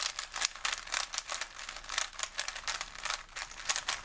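A small plastic Rubik's cube with colored stickers is held in both hands while fingertips twist and turn its layers. The result is a quick, steady run of dry, rattling clicks that sound bright and crisp, with almost no low end and very short decay.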